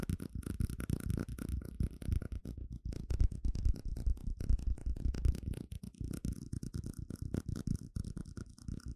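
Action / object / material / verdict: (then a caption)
tap / small plastic cup / plastic / none. A small, hollow, empty clear plastic cup is held upside down while fingertips and nails tap rapidly on its sides and base. The result is a dense stream of short, dull, low-heavy taps with almost no ring.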